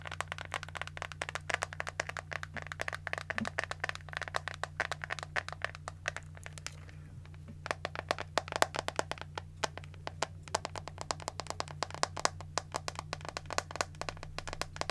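Long acrylic nails and fingertips tap rapidly on the hollow back of a hand-sized pink plastic detangling hairbrush, making a dense stream of crisp, bright, dry clicks that stop almost instantly. The tapping runs over a steady low hum and briefly thins out around the seven-second mark before picking back up.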